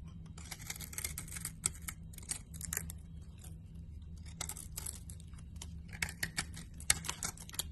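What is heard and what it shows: A blade scrapes curled shavings off a solid green and cream piece of laundry bar soap, making a run of bright, crisp, short scraping bursts. The scrapes sit over a steady low hum.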